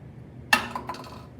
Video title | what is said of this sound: Science: Drop Chamber | okay sounded a little hollow today because the cup is hollow